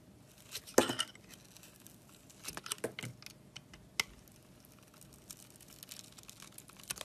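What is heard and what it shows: A box-cutter blade carves strips off the surface of a solid red glittery bar of soap with pink inside, held in the hand. Soft, crisp scraping and crackly tearing sounds come in bursts, with bright clicking edges. The loudest burst is near the start, and a sharp click sounds around the four-second mark.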